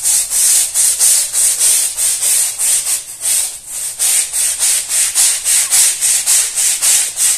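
A long-handled plastic-bristle scrub brush is scrubbed back and forth over a small fringed woven fabric rug that is muddy and soapy, lying flat on a stone-tile floor. The result is a steady run of rapid, evenly paced scratchy strokes, each a bright, hissing rasp with almost no low end.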